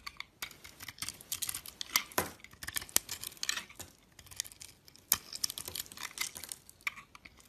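A box-cutter blade scrapes thin shavings off the flat face of a solid oval soap bar held in the hand, its skin marbled red and blue over a cream-colored core. The clip is full of crisp, bright, dry scraping and crackling strokes in quick irregular bursts, with almost no low end and short pauses between passes.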